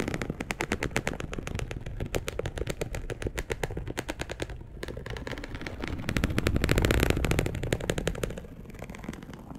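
A dark brown perforated polyester mesh fabric sheet, laid flat, is scratched with long acrylic nails. The result is a rapid, uneven series of dense, crackling scrapes with strong low-end body and bright edges. The scraping grows louder and fuller toward the last few seconds before easing off.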